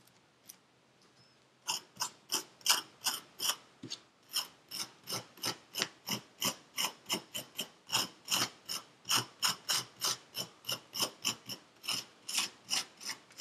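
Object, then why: Kinetic sand in a paper cup. A thin metal pick with a wooden handle scrapes through purple kinetic sand filling a paper cup. After a faint click and a short quiet pause, about 35 quick, bright, crunchy scrapes follow in a steady but uneven rhythm, each short and dry with almost no low end.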